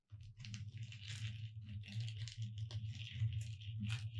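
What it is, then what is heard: Glitter-coated foam sign, tapped and scratched. Long red nails quickly tap and scratch across the letters of a thin, solid gold-glitter foam "Merry Christmas" cutout sign lying flat on a dark cloth, with both hands resting on it. The result is a dense, crunchy rattle of bright scratchy bursts over a steady low hum, with no clear gaps between strokes.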